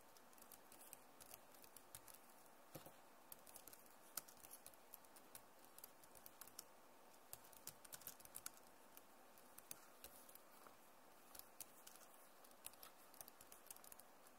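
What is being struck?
Plastic laptop keyboard.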